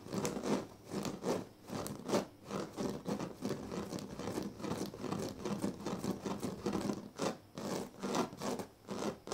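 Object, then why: Woven reed mat. Fingers scratch and rub along the thin dyed reed strands of a large, flat woven reed sleeping mat. The result is a run of dry, raspy scratching strokes in uneven bursts, with a grainy midrange texture and some bright, crackly edges. The scratching sounds come across as oddly textured.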